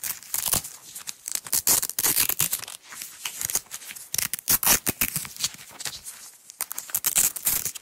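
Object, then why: Nylon hook-and-loop tape roll. Long nails peel a strip of green nylon hook-and-loop (velcro) tape off its roll on a table. The result is repeated bright, crackly tearing rips in short bursts, with almost no low end.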